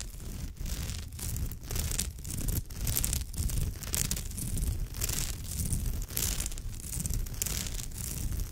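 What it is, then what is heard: Woven straw bag scratched. Long almond-shaped nails scratch along the rows of fibre on a woven straw or raffia purse. The result is a continuous, dense, rough scratching and rustling with a bright, hissy top. Steady low-end rumble runs underneath, and the strokes come in uneven sweeps.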